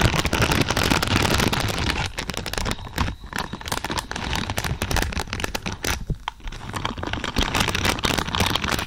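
Long purple pointed nails scratch and rake across a large lavender pad densely covered in thin, flexible plastic or silicone pins. The result is a dense, crackling, broadband rustle with many rapid, irregular flicks, loudest at the start and again toward the end.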